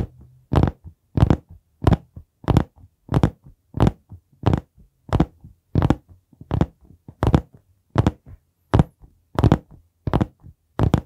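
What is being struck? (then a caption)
Hardcover notebook, board cover. Fingertips tap and knock on the board cover of a dark brown hardcover notebook held vertically against the mic. About 18 short, dull, low thuds come at a loose, uneven rhythm of roughly one and a half per second. Each one dies away almost at once.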